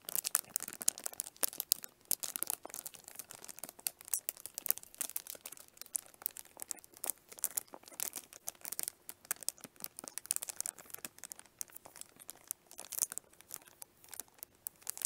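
A small, hollow pink plastic onigirazu lunch case sealed in clear cellophane is held up close in both hands while long nails scratch and tap the wrapped surface. The film crinkles in a dense stream of bright, crisp crackles and sharp, quick clicks that cut off instantly, with almost no low end and a faint steady tone underneath.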